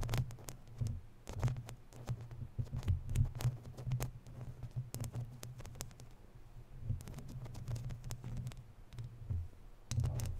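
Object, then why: Woven metal mesh microphone grille. Long natural nails scratch and rub a round, hollow, woven metal mesh microphone grille, making a stream of quick, dry scratches and crackles with brief bright edges. A deep, booming low rumble throbs underneath throughout, swelling and fading with the rubbing.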